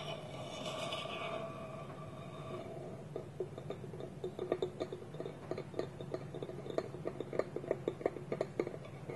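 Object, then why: Small polished wooden bowl and lid. Fingertips and nails tap a small, round, hollow, polished wooden bowl that is empty, with its wooden lid held tilted against it. A soft sustained tonal hum in the first few seconds gives way to a run of quick, dry, hollow knocks pitched around 395 Hz that die away almost instantly.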